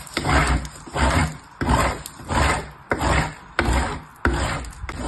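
A small purple piece of soap is rubbed by fingertips with long nails across the fine holes of a painted metal box grater. Repeated scraping, rasping strokes come at a fairly steady pace, each swelling in a gritty, low-heavy rush with a bright edge.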